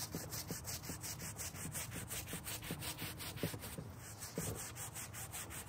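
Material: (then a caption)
Carpet. A gloved hand scrubs a dirty dark grey carpet car floor mat lying on a white folding table with a green-bristled hand brush. Steady, rhythmic back-and-forth bristle strokes make a continuous rubbing, sanding-like hiss with a low body and a bright, airy top. The strokes pulse evenly throughout.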